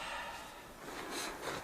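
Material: Nothing is struck.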